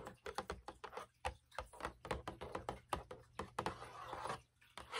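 Long acrylic nails tap rapidly across a large, hollow Lucky Charms cardboard cereal box held in both hands, producing a quick run of dry, short, mid-pitched clicks. Partway through, a soft papery rustle fills the gaps as the box turns from its back panel to its front, then the light tapping resumes.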